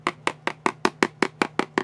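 A pen taps the new packaging of a cardboard toy box ten times at an even pace. Each tap is a short, dry, hollow knock centred around 360 Hz with a bright edge, dying away almost instantly over a faint steady low hum. The box sounds hollow.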